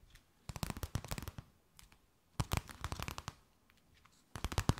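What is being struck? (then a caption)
Thin clear plastic bag. A thin, empty, clear plastic bag is held between both hands and tapped, scratched and crinkled with long nails. Three bursts of quick, dry crackling taps and crinkles carry a bright rustle over a soft low thump, with short quiet gaps between them.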